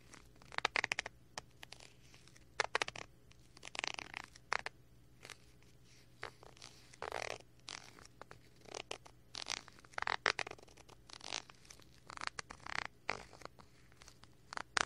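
A wooden stick repeatedly scratches the film of a small clear plastic bag package with a cardboard header card, held by hand. Short, dry, crinkly scratches and scrapes come in uneven bursts, some brief and some drawn out, bright and papery with no low body. Each stops almost instantly over a faint steady low hum.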